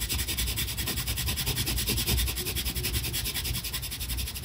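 A brown colored pencil is pressed hard and rubbed back and forth on a flat paper coloring page in dense, rapid strokes. It makes a continuous scratchy rubbing with a bright hiss over a low, soft rumble, pulsing unevenly with each stroke.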